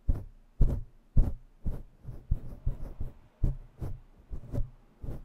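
Long bare nails scratch fast and intensely with both hands on a grey and black synthetic-fur microphone windscreen. The result is a string of deep, muffled bursts about every half second, with thumps concentrated in the low end and a faint bright fizz on top.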